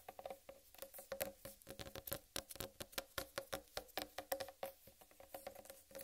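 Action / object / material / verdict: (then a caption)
tap / whole watermelon rind / melon rind / none. Long red-painted nails tap rapidly on a large, whole, uncut watermelon with a green striped rind, producing about thirty quick, soft, pattering clicks. Each tap has a hollow tone around 540 Hz with a bright clicky edge and dies away almost instantly. The sound is quiet and has very little low end.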